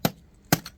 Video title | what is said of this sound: Sugarloaf Mountain - Hoover Dam Area - Lake Mead NRA, Arizona | It's hollow. Hollow. So it's not a huge density